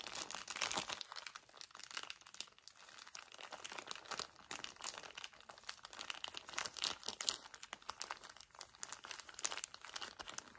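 A soft, full pack of paper tissues wrapped in thin plastic film is crumpled and squeezed by fingertips with short nails. The result is a steady stream of bright, crisp crinkling and crunching with fast, varied bursts. There is almost no low end.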